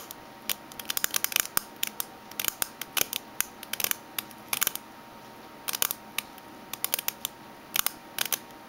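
Fingernails tap and scratch the metal base of a small oval aluminium Minteas mint tin lying upside down with a barcode label on its bottom. Bright, sharp clicks come in irregular quick bursts with scratchy brushing between them. Each click dies away almost instantly over a faint steady hiss.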